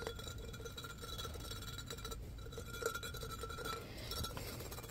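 A clear, medium-sized, hollow embossed glass pitcher with a handle, apparently empty, is held in the hands and tapped and scratched with fingertips and nails across its patterned surface. Quiet, steady scratching is dotted with light glassy clinks that leave a short, faint ring near 1.4 kHz, with a louder tap just before the three-second mark.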